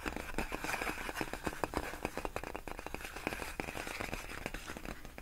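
Long nails tap and scratch across large, clear, inflated plastic air-column cushion wrap, its hollow air-filled tubes giving quick, dry plastic clicks and crinkly scrapes. The taps come in a rapid, uneven stream over a steady rustling bed, each one short with almost no ring.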